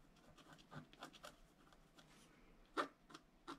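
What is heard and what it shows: A wooden stylus scratches repeated short strokes into the coating of a flat scratch art card, a black-coated paper board, while the other hand steadies the sheet. Quiet, dry, bright scratchy strokes come in short bursts that die away almost instantly. A few louder strokes land near the end.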